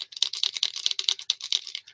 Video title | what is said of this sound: Geocaching Basics - Geocache Sizes - GeoSnippits Reboot Podcast: Ep. 202 | you could shake it all you want nothing's there